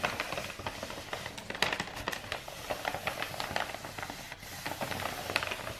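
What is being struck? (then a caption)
Rolled kraft paper tube. A long roll of brown star-printed kraft wrapping paper, a hollow rolled tube held upright, is tapped with fingertips and long nails. It gives a steady run of quick, dry, papery taps and crinkly clicks with a bright edge. Each tap dies away almost at once.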